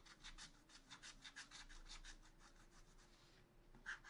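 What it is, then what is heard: Scratch art paper being scratched. A wooden stylus scratches a black-coated sheet of scratch art paper in a spiral notebook with quick back-and-forth strokes. Each stroke makes a soft, bright, raspy scrape over a faint steady low hum. The strokes come in a steady rhythm, blur together in the middle and stop briefly before a final louder scrape.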